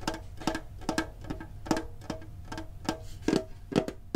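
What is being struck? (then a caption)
Printed metal card tin. A green printed hollow metal Pokemon card tin is held and tapped on its lid with the fingertips and short nails. Fourteen quick, irregular taps each give a hollow metallic tick with a short tonal ring around 500 Hz and a bright click on top, dying away almost at once.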